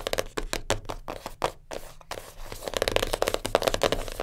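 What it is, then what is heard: Cardboard puzzle box. A small black printed cardboard jigsaw puzzle box lying flat is tapped and scratched with long nails. Quick, sharp taps with a hollow, papery knock alternate with brief bright scratching strokes. After a quieter scratchy stretch midway, the fast tapping resumes more densely.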